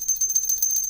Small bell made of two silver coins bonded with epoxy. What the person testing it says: No, that's nice ring to it there